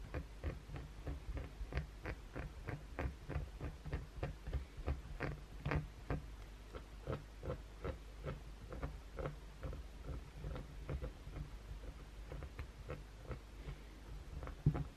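Short natural fingernails scratch a solid, firm, hand-sized white oval Dove soap bar held in both hands over a towel, with removed blue fake nails lying nearby. The clip is a quiet, steady run of brief, dry scratching strokes with a dull, low-heavy tone and almost no ring, ending on one louder stroke near the close.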